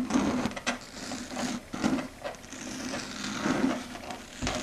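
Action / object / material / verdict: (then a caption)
tap / chalkboard surface / unknown / none. Long red stiletto nails tap and scratch across a flat dark grey chalkboard surface. Irregular dry clicks mix with rough, scratchy scraping that swells and fades, with a bright hiss across the top.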